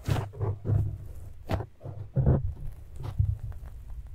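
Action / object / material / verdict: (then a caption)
scrape / foam microphone windscreen / foam / none. A black, soft, porous foam windscreen on a microphone is scratched with the fingertips and nails of both hands. The result is a series of muffled, low thumping scrapes with brief dull rumbles and short bright crackles on the strongest strokes.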